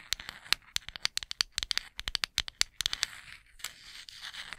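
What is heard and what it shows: A small, solid, light wooden cooking spoon, held with its handle horizontal, is tapped and scratched with long acrylic nails. A quick, uneven run of sharp, bright, dry clicks fades into softer, hissy scratching over the last second or so. The clicks have almost no low end and no ring.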